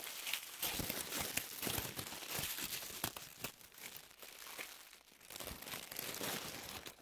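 A crumpled white paper tissue ball is crushed and squeezed between both hands with long nails. It makes a dense, bright crackling and crinkling with irregular sharp snaps, swelling and easing in loudness throughout.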